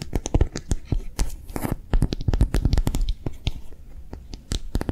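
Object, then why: Soft silicone phone case. A hollow, empty pink soft silicone "piggy" phone case with a bumpy character pattern is held in both hands and tapped and scratched quickly with long manicured nails. It produces a rapid, uneven run of dull, low, soft thuds with very short decays, mixed with brief scratchy rustles.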